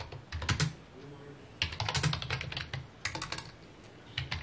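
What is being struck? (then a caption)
Plastic computer keyboard. Fingertips type rapid key taps on a full-size white plastic computer keyboard with mint keycaps resting on a wooden desk. Quick bursts of crisp, bright clacks over a low thock arrive in three clusters separated by short pauses, each tap dying away almost instantly.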